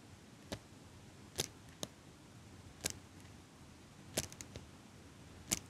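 A small metal eyelash curler held upright close to the mic is squeezed by fingers with long nails, making about ten sharp, bright clicks at irregular intervals. Each click is very short and dry with no ring, set against a low, steady background hiss.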